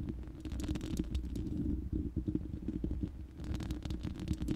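Long manicured nails of both hands scratch and tap the hollow, uncovered round steel mesh grille of a large studio microphone. The result is a dense stream of quick scratchy clicks over a boomy, rumbling low resonance, with a brief lull near the three-second mark before sharper taps return.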